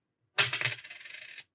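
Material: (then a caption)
Nickel. A 1968 Canadian dime that looks like silver is dropped for a ping test and clatters in a quick run of small bright bounces that fade within about a second. There is no lasting ring, just a dull, button-like sound, which marks the coin as nickel rather than silver.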